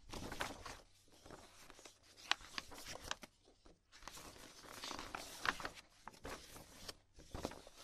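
A loose stack of thin, glossy printed magazine pages is held in both hands while fingertips with long painted nails riffle, flip and shuffle the sheets. Bright, crinkly rustling is broken by sharp, crisp snaps of paper. The sound comes in two busy stretches separated by a brief quieter lull.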